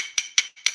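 A piece of hard composite knife-handle scale material, G10 or Micarta-type, is tapped three times. Each tap gives a short, sharp, high-pitched click with a glassy, brittle ring concentrated above 2 kHz and almost no low end. The sound suggests a hard, dense material.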